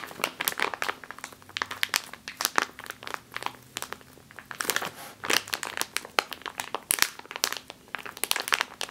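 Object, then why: Plastic bag of flour. A full plastic bag of flour is gripped, squeezed and scratched with long nails, producing dense, bright crinkling and crunching with many sharp, short crackles. The bursts come in rapid, uneven clusters over nine seconds, with almost no low end and a faint steady low hum underneath.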